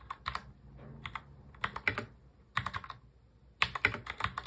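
Both hands type fast on a full-size black mechanical keyboard with plastic keycaps, fingertips tapping the keys. Quick runs of bright, sharp clacks arrive in clusters separated by brief pauses, each click dying away almost instantly over a low, soft thud from the keystrokes.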